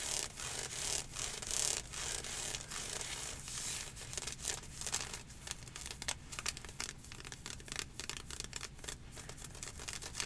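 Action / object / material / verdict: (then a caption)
scrape / ribbed synthetic stretch-fabric leggings / synthetic fabric / none. Long nails and fingertips aggressively scratch up and down the ribbed thigh section of dark green ribbed athletic leggings, made of synthetic stretch fabric with mesh inserts and worn on a leg. The result is a dense, bright, raspy scratching with quick irregular strokes that swell and fade, plus a faint low rumble underneath.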